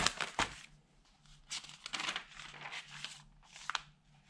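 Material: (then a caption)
Paper. An open tabloid newspaper of thin newsprint lies flat on a dark table while ringed fingertips rub the pages and turn them over. Bright, airy crinkling and rustling comes in bursts, with sharp paper snaps near the start and near the end. Quieter stretches of faint rustle fall between the louder page movements.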